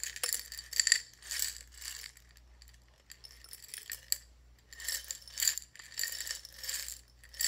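A small clear glass jar with its lid off, partly filled with buttons, is held in both hands and shaken or rolled so the buttons rattle against the glass. Bright, clicky, glassy rattles come in uneven bursts with short pauses between them, each tick dying away almost instantly over a faint steady low hum.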